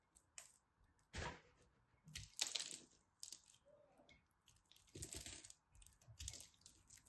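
A craft knife cuts and scrapes a small, solid, glittery pressed soap piece. Quiet, crisp, bright scraping and crackling bursts come and go, with short dry clicks and very little low end or ring.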